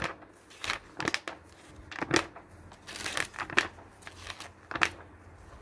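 Fingers flip and squeeze the thin glossy printed pages of an open, medium-thick magazine lying on a wooden table. A series of short, crisp crinkles and rustles sound with bright paper texture, each burst fading quickly between quiet pauses.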